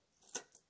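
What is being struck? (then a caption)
Metal coins. A group of coins that will go into a box clinks together twice. It makes two short, bright metallic chinks, the first louder than the second, each fading almost at once.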